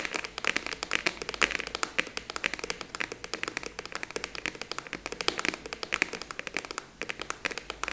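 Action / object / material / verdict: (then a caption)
tap / plastic expanding file folder / plastic / none. Long nails quickly tap a large, hollow, purple translucent plastic expanding file folder. A rapid, steady run of short, dry, bright clicks follows, each dying away almost at once with nearly no low end.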